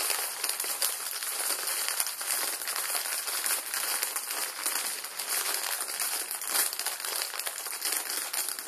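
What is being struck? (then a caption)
Plastic film noodle packet. The back side of a full plastic-film ramen noodle packet is held in both hands and squeezed with the thumbs, crinkling the film. A steady, dense run of bright, crackly crinkles goes on for about nine seconds with no low end. The individual crackles blur together at a fairly even level.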